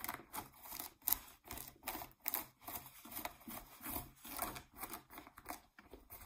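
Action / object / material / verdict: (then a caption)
scrape / denim jeans fabric / cotton denim / none. Fingernails scratch the fabric around the waistband of blue ripped denim jeans laid flat, making quiet, dry, rasping strokes. The bursts come in an irregular run of about sixteen short scrapes with bright, hissy highs and almost no low end, each stopping dead with no ring.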